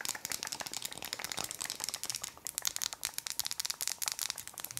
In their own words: 15:20 Tapping on wood